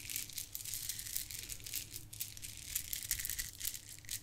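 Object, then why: Plastic bead garland. A gold plastic bead garland is held and rubbed between fingertips and long nails, then dangled and shaken. The beads give a dense, continuous high rattle and clicking, with a faint low hum underneath.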